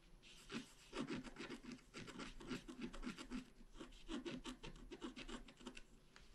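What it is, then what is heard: Scratch art paper being scratched. A wooden stylus scratches continuously across a flat, black-coated scratch art card about A4 in size. Short, raspy strokes follow one another in quick, uneven bursts, each with a bright scratchy hiss over a dry, low-mid body, and the strokes stop almost instantly with no ring.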